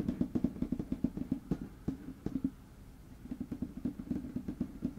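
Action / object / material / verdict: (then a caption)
tap / wooden tabletop / wood / none. Fingertips and short nails tap and scratch on a large, flat, light wood-grain tabletop close to the microphone. Quick bursts of short, dry, low knocks centred around 240 Hz die away almost instantly. A brief quieter stretch of soft scratching sits in the middle.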